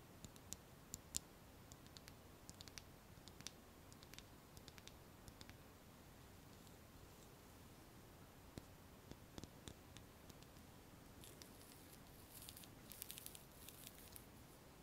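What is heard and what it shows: A small, clear pink plastic lip gloss tube with a silver cap, apparently full of gloss, is held near the microphone and tapped and clicked with long painted nails. Quiet, sharp, bright clicks and ticks sound sporadically over a soft low hiss. A denser cluster of crisp crackling taps comes near the end.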